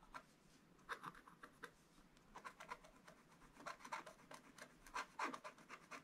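A wooden stylus scratches a crab shape into the black coating of a flat scratch-art paper page while hands hold the book steady. Quiet, dry, irregular scratching strokes come in quick bursts, each a papery rasp centered around 1 kHz with a bright edge and almost no low end.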